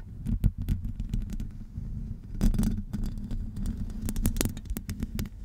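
Long acrylic nails scratch along the sides of a hollow metal wire-mesh microphone grille. The result is a dense, low, rumbling scrape with a throbbing body, punctuated by quick, bright scratchy clicks as the nails catch the mesh.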